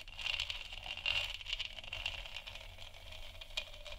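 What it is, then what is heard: Plastic moon lamp. Long nails scratch and tap across the textured surface of a large, hollow plastic moon lamp sphere. The result is a steady, bright, crackly rasp with quick tapping rattles and a thin hollow ring underneath.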